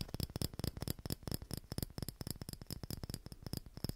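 A small hollow clear glass Christmas bauble with a metal cap and ribbon is scratched and tapped with fingernails in a quick, steady run of sharp clicks. Each tap is short and dry, with a soft low knock beneath it and a faint high glassy tinkle that dies away almost instantly.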